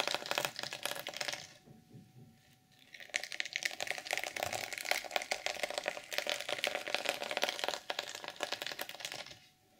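Long purple acrylic nails scratch and flip the black and silver reversible plastic sequins on a large, flat, padded journal cover lying open on a pink table. A burst of dense, bright clicking and rasping is followed by a brief near-silent pause, then a long run of rapid, crisp sequin clicks and scratches before it fades out.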